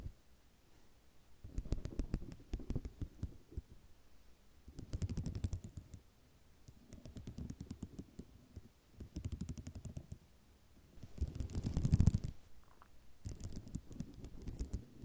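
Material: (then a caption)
Ceramic. Long nails tap with both hands on a flat sheet of small white square ceramic mosaic tiles resting on cloth. Six bursts of quick, soft clicking and clattering, each with a muffled low thump beneath it, are separated by short quiet pauses.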